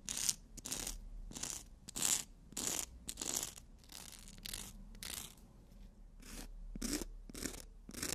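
Nail tips are filed against a long, flat emery board nail file printed with "we make-up," making repeated dry scratching rasps. The rubbing strokes come in bursts of bright, high hiss at a loose, uneven pace of about 100 per minute, with short quiet gaps between them.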